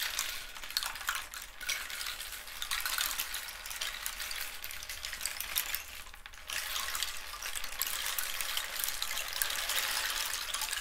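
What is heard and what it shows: A long, hollow rainstick made from a dried cactus skeleton with spotted holes and filled with loose seeds or pebbles is held in both hands and slowly tilted, turned and raised overhead so the filling trickles through. It produces a steady, bright, rain-like patter and hiss with little low end, which briefly thins out around the six-second mark before resuming slightly louder to the end.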